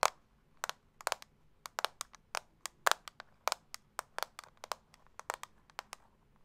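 A small, round, hollow clear plastic setting-powder compact, held in one hand, is tapped and scratched with long acrylic nails. About 26 sharp, dry clicks sound in an irregular run, each cutting off almost instantly with no ring.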